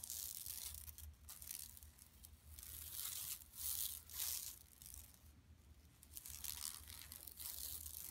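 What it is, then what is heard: Woven plastic mesh bag scratched. Long nails on both hands scratch across a large, flat, empty yellow woven plastic mesh tote bag lying on carpet. The result is a bright, dry, rasping scratch that swells and fades in uneven waves, over a steady low hum underneath.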